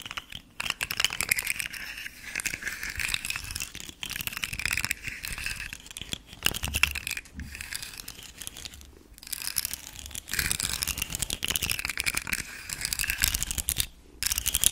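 A rainbow segmented hard plastic fidget slug toy is held beside the mic while its articulated segments are flexed and click and fingernails scratch along its ridges. The result is dense, bright, crackly clicking and scratching in rustling bursts, separated by brief quiet pauses.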